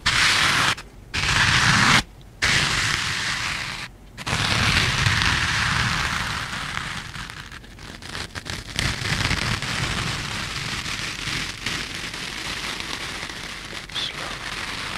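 Two rectangular kitchen sponges, yellow foam with a green scouring layer, are held close to the mic while fingertips tap and squeeze them and rub them together. The result is a dense, bright, scratchy crackle, broken by brief silent gaps early on. It then settles into a steadier, slightly softer rasping rub with scattered sharp ticks.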